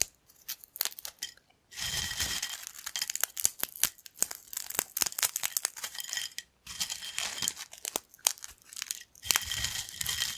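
Thin yellow corn chip shards on a black plate are picked up and snapped between fingertips. The result is bright, dry crackling and sharp snaps, with dense bursts of crunching separated by brief silences.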